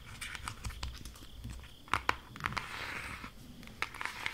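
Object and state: Cardboard eyeshadow palette.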